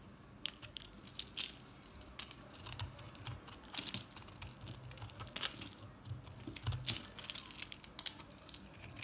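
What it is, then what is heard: Recycled soap bar being shaved. A metal box-cutter blade shaves crumbly chunks off a solid green and white recycled soap bar, and the chunks fall onto the table. A dense run of crisp, bright crunching and scraping clicks comes through, with soft low thuds as the pieces land.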